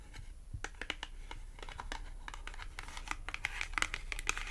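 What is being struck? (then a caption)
Thin cardboard clothing tag. Long acrylic nails scratch and tap the face and edge of a small, thin, flat green matte cardboard clothing tag. A rapid run of dry, bright clicks and papery scratches that grows busier and a little louder toward the end. Each tap stops short with almost no ring.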